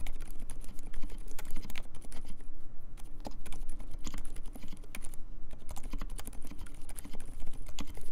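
Fingertips type steadily on a compact mechanical keyboard with silent Dolphin switches, plastic keycaps and a metal case. A quick, dense stream of short, muffled keystrokes, each with a soft low thud and a brief bright tick, rolls on at an even pace with no pauses.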